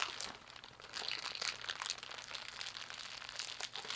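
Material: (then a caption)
Plastic. A thin, clear plastic bag bunched into a hollow, light ball is crumpled and squeezed by fingertips and palms with long painted nails. A steady stream of bright, dense crinkling and crackling continues throughout at a quiet level, with no low end and each crackle stopping almost instantly.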